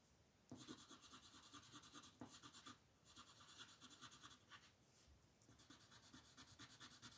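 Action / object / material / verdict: scrape / colored pencil on a paper sheet / paper / none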